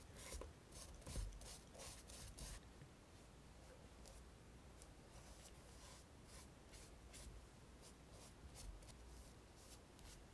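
A flat paint brush strokes and rubs the leather upper and sole edge of a hollow black and red painted leather Dr. Martens derby shoe held by hand. Soft, dry brushing swishes come in short bright bursts over a low, quiet rumble, with the strongest strokes near the start.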